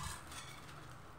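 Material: Nothing is struck.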